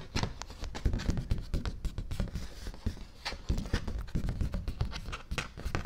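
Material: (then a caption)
Paper. A large, thin sheet of stiff white cardstock, a printed affirmations poster, is held upright in one hand while fingertips and nails rub and tap its back surface. The result is a dense run of soft, dull taps and scratchy rubbing. The sound is mostly low thuds, with brief bright crackles over a quiet hiss.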